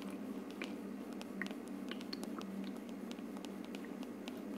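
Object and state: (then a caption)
Plastic aroma diffuser. Long nails tap and scratch the hollow frosted plastic dome of a plastic aroma diffuser sitting on a wood-look plastic base. Quiet, quick, bright clicks and light scratches scatter over a steady low hum. The taps stop short with almost no ring.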